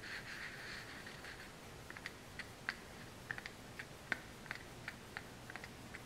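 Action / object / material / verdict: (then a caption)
tap / small kraft cardboard box / cardboard / none. A hollow, small brown kraft cardboard supplement box with a printed label is held in the hand and scratched with long nails, giving a soft, bright scraping hiss for the first second and a half. It is then tapped with the nails in 13 quick, dry clicks spaced irregularly over the rest of the clip, each dying away almost instantly.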